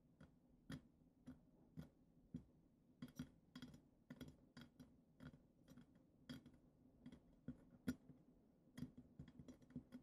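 Long acrylic nails rapidly tap the glitter-coated glass foot of a goblet, making a steady run of quick, dry ticking sounds. Each tap is a short, sharp click with a low body near 250 Hz and bright, brief edges that die away almost instantly.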